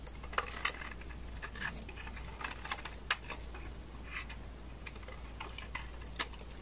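A utility knife blade scrapes chunky flakes off the edge of a hand-held solid beige bar of dry laundry soap. The result is a string of short, crisp scraping clicks and scratches with bright, dry crackle over a low steady hum.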